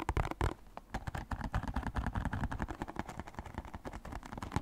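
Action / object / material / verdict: tap / small printed cardboard box / cardboard / none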